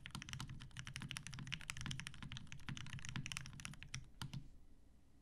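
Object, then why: Mechanical keyboard, plastic keycaps, metal case. Fingertips of both hands type on a TGR Jane V2 mechanical keyboard with 63.5g Tealios switches, cream and grey PBT plastic keycaps, and a dark grey metal case resting on a desk mat. The result is a rapid, steady stream of short keystrokes: each one has a deep, rounded thock with a bright clack on top. The typing thins out and quiets near the end.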